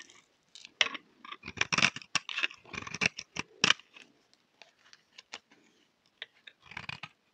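A thin remaining slab of solid, dry cream laundry bar soap is held in the hand and shaved with a utility knife blade. Quick, crisp scraping strokes come in uneven bursts with short pauses between them. The strokes are bright and mostly high-pitched, with little low end.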